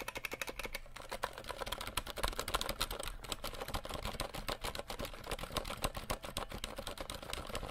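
A compact 60% RGB mechanical keyboard with plastic keycaps is held and tilted while fingertips tap its keys quickly. The result is a rapid, irregular stream of short, bright plastic clacks over a soft low thump, each tap dying away almost instantly.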